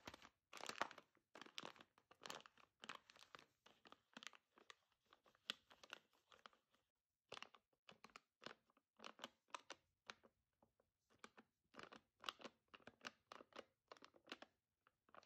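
Long dark almond-shaped nails tap and scratch across the surface of a large, filled Lavazza Qualità Oro coffee bean bag in gold metallized foil lying flat. Quick, dry crinkling and crunching bursts come in irregular clusters with brief silent gaps, bright and thin with almost no low end and no ringing after each touch.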